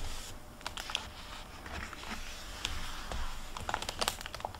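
Fingertips with long red-painted nails turn and rub the paper pages of an open hardcover library book with a plastic-covered dust jacket, lying on a wooden table. Soft, dry rustling is broken by sharp, bright crinkly ticks and taps over a low, steady background rumble.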